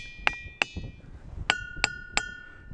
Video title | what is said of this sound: Explore Ringing Rocks Bucks County Pa,Waterfall | It's amazing, huh, how they actually ring.